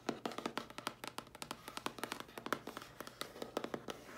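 Long dark-polished nails quickly tap and scratch the lid of a medium-sized, hollow, closed dark grey printed cardboard mailer box with a round logo. About thirty short, dry, hollow clicks with a papery scratch come in a quick, uneven run. Each dies almost at once, leaving a quiet, bright patter.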